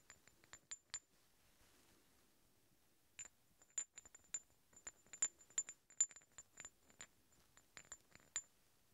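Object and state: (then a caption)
Steel hex bolts. Two large solid steel threaded hex bolts are tapped and scraped against each other, making about eighteen short, bright metallic clinks with a high, quickly fading ring. The clinks come at an irregular pace, with a quiet pause after the first few before a busier run of taps and light scrapes.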